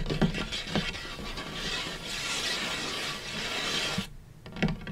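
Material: Wood.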